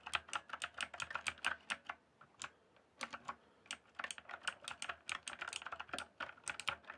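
Fingertips type on a backlit mechanical keyboard with plastic keycaps, making quick, bright clicky keystrokes with a short sharp decay. A brisk run of taps slows to a few scattered strokes around the middle, then speeds back up to steady typing.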